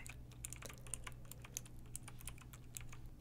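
Long pink nails type on a backlit pink retro mechanical keyboard with round, typewriter-style plastic keycaps, resting on a fur rug. A quiet, steady run of short, bright plastic clicks and taps sounds over a low, constant hum.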